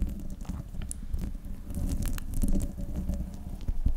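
Long nails on both hands scratch the top of the hollow metal mesh grille on a silver desktop microphone. The result is a continuous, muffled, low rumbling scrape with scattered brief crackly ticks. The level swells and dips over the four seconds.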